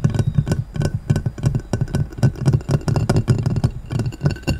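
A clear round glass plate lying upside down is tapped and scratched quickly with fingertips and short nails. Rapid, irregular dull taps with a low thudding body and almost no ring follow one another, mixed with thin, bright scratching clicks.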